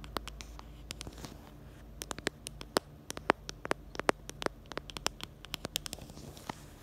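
Long nails tap and scratch on the black camera bumper and the back of a small pink plastic phone case. A quick, uneven run of sharp, dry clicks with bright, crisp tops sits over a faint, steady hiss, and each tap dies away almost at once with no ring.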